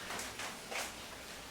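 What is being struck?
Nothing is struck.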